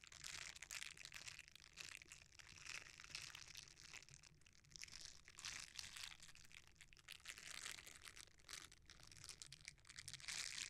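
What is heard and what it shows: A red silicone bristle scrubber, rolled into a tube, is squeezed and rubbed by fingers. This gives a quiet, steady run of bright, crinkly, crunching rubs with dense, rapid textured scraping and little low end.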